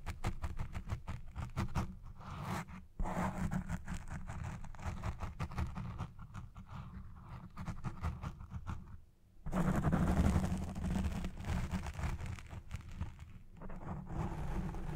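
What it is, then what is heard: Foam microphone windscreen being scratched. Long red-painted nails scratch a black foam windscreen on a Blue Yeti Pro microphone, producing a dense, rapid, muffled scratching with a heavy low rumble. The scratching drops briefly near the nine-second mark, then returns louder as both hands rub the foam through to the end.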